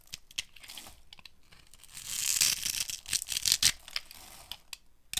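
A small metal blade carves a hand-held, dry, solid brown soap bar that has been cross-hatched, scraping off crunchy shavings and cubes. Bright, dry crunching and scraping come in quick bursts, loudest through the middle of the clip, with short, sharp snaps near the end.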